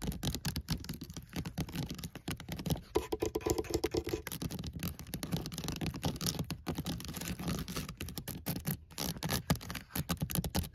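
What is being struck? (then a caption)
Woven wicker basket. Fingernails rapidly tap and scratch across the woven strands on the side of a hollow white woven wicker basket, heard close up. The sound is a dense, fast run of dry clicks and soft, hollow thuds that are strongest in the low range, with scratchy rasps between them.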